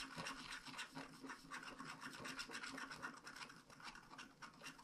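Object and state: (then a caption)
Scratch-art card being scratched. A wooden stylus scratches cloud swirls and a star into a flat paper scratch-art card with a black coating. The result is a quiet, dry, bright rasping made of quick, uneven back-and-forth strokes that keep up steadily without a break.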